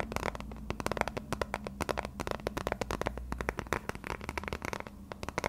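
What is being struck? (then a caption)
Thin plastic phone case. A transparent plastic phone case with a thin shell, held edge-on, is tapped and scratched with fingertips and short nails. A rapid, uneven series of sharp, dry clicks and taps plays over a steady low hum, with brief scratchy passages in between.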